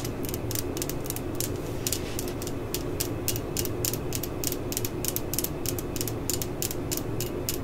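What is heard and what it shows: Long fingernails scratch and tap along the flutes of a large spiral steel drill bit held in the fingers, with its bit case sitting untouched nearby. A steady run of quick, bright ratchet-like clicks and scrapes rides over a constant low rumble at an even, quiet level.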